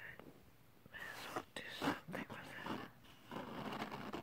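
Fingertips and short nails scratch and rub across the textured surface of a flat, thin silver holographic glitter paper or cardstock sheet. Quiet, airy scratching and brushing strokes come in uneven bursts with brief pauses between them.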